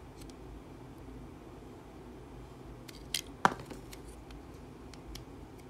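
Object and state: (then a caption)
Bar soap being cut. A segmented metal utility-knife blade cuts and shaves slices from the top of a solid, hand-sized blue Dettol soap bar held in the hand. Over a quiet, steady low hiss, faint light scrapes and ticks lead to two sharp, bright snapping cuts just past the midpoint. Softer scraping and shaving follow.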